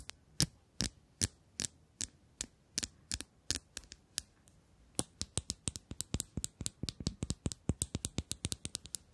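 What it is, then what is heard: Metal tube case tapped with nails. A small, shiny bronze and chrome hollow metal cylinder case with a gold band, held in the hands, is tapped and scratched with long acrylic nails close to the microphones. Sharp, bright metallic clicks with a low thud underneath come at a steady pace for the first few seconds. After a short pause they return as a faster, denser run of taps, each dying away almost at once.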